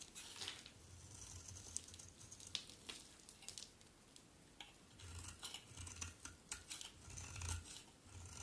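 A solid white bar of soap, held in one hand, is shaved with a box cutter blade in scraping strokes. Quiet, bright, crisp scraping and shaving bursts repeat over a steady low hum.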